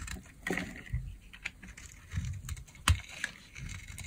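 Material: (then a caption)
Soap. A small blade scrapes the surface of a solid peach bar of dry soap held in the hand, shaving it into flakes that pile up. Short, dry scraping strokes and crisp crackles come one after another, each dying away almost at once, with low thuds underneath and brighter ticks above.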